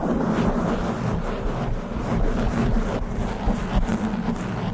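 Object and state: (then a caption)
Foam microphone windscreen being scratched. Long pink nails scratch fast and hard across the top and sides of a black foam windscreen on a studio microphone. The result is a dense, continuous, low rumbling rustle with almost no bright content. The level stays steady with only slight swells.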